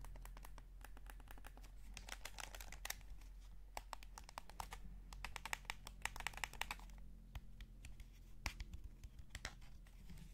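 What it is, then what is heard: Plastic game controller. A hollow, light blue plastic PS5 DualSense gamepad is held in both hands while the thumbs scratch and rub the analog sticks and the fingertips tap the shell. The result is a quiet, steady stream of short, dry, bright clicks and ticks over soft scratchy rubbing and a low background rumble.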